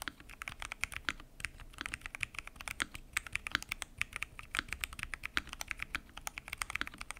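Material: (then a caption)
Plastic. Fingertips type continuously on a full-size mechanical keyboard with lubed switches, pink and mint PBT keycaps, and a transparent acrylic case. The result is a rapid, steady stream of short, crisp clicks and clacks with a bright, clattery top and almost no ring after each keystroke, at a soft, even level throughout.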